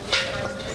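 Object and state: Well-fired clay pot that rings.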